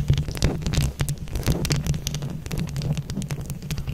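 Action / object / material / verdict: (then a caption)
scrape / plastic buttons on a mesh microphone head / plastic / none. Long acrylic nails on both hands scratch and tap over a round mesh microphone head covered in plastic flower buttons. The result is a dense, steady stream of crackly scratches and sharp, quick clicks, with bright transient edges over a heavy, boomy low rumble.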